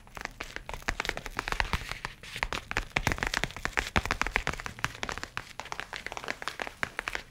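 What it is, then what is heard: Leather tablet case. A rigid, book-sized, dark brown leather-covered folio case holding a tablet is held up and tapped rapidly with the fingernails and fingertips. The taps are crisp, dry clicks with a bright edge, dying away almost instantly, and they come in a steady, dense stream of soft and sharper strikes throughout.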